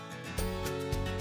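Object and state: Nothing is struck.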